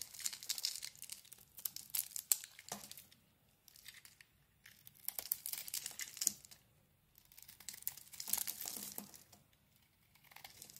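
A solid oval bar of soap, with a dark purple outer layer and a green core, is held in one hand while a small metal blade shaves and scrapes curls off its surface. The sound is a series of dry, bright, crinkly scraping bursts with many short crisp clicks. They arrive in several separate strokes with quiet pauses between them.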